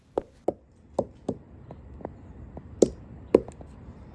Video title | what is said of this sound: Is this the RIGHT THING to DO? | wherever I thump it you can hear Hollows and you can hear Decay